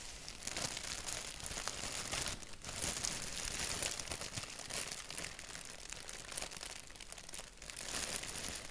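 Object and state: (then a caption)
Paper sheet. Fingertips scratch and tap a thin, slightly wrinkled white paper sheet printed with a black doodle. The result is a steady, bright, crinkly rustle of dry scratches and soft taps, with brief quieter dips partway through.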